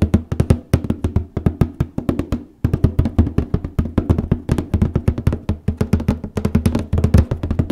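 Fingertips with painted nails tap and scratch the top of a large rectangular printed Apex Plus cardboard copy-paper box resting on a lap, likely full of paper. A rapid, uneven series of about fifty short, dull, low thuds with almost no ring follows, with brief pauses between bursts.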